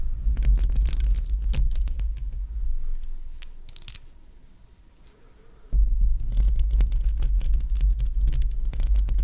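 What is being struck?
Metal mesh microphone grille.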